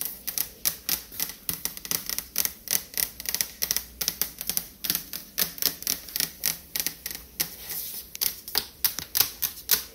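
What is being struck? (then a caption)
Refrigerator door, painted metal. Long fingernails tap rapidly on a refrigerator door, producing dozens of sharp, bright clicks in quick, uneven bursts. Each tap is crisp and high-pitched with almost no low end and dies away almost instantly.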